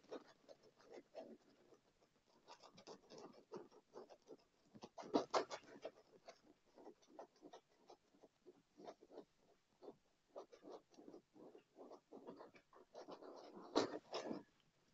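Fingertips and nails of one or both hands rapidly tap and scratch a dark padded leather armrest on a chair. The result is quiet, dry, short taps and scuffs, mostly in the low-mid range, with a louder cluster of taps near the end.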